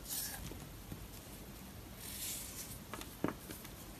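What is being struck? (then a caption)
Soap bar scraped with a knife. A knife blade scrapes and cuts crumbly layers off a round, solid, chalky blue and pink marbled dry soap bar held in the hand. Quiet, airy scraping hisses come in bright bursts near the start and again around two seconds. They are joined by four short, dry crackling snaps as bits break away, with the sharpest snap near the end.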